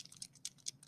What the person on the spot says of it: Can you hear that? You want to hear that. That's like a little bead inside the marker moving around.